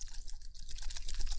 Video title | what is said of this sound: I WANNA TALK ABOUT MY LA TRIP - Honest Thoughts on Calli Concert & More | when you shake it so that's how you know the spent one and not spent one